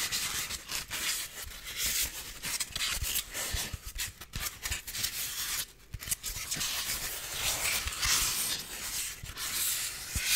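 A solid white styrofoam block is rubbed with fingertips for about ten seconds. It gives a continuous dry, high scratchy rustle with brief squeaky catches and soft low thumps. The sound dips to near quiet just before the six-second mark.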